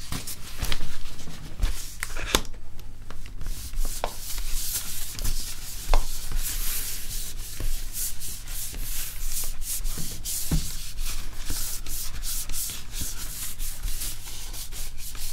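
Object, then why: Laptop screen and plastic bezel. A cloth rubs and wipes across the screen and plastic bezel of an open laptop held sideways. The result is a steady, bright, dry scrubbing texture over a low hum, broken by short sharp scuffs and taps.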